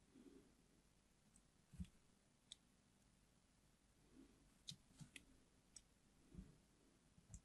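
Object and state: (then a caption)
Glycerin soap bar being carved. A small metal blade tip shallowly scrapes and carves parallel grooves into a hand-sized, unwrapped, solid yellow translucent glycerin soap bar held in one hand. Quiet, soft low scraping is broken by short, bright clicks from the blade against the soap, each dying away almost at once.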